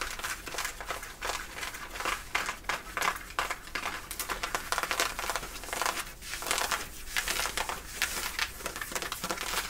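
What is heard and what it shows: Long nails on both hands scratch across the back pockets of worn, light-blue ripped denim jeans, rubbing the thick fabric. It makes a continuous run of dense, rasping, crinkly scrapes with a bright, hissy texture and little low end. The strokes swell and fade in quick overlapping bursts.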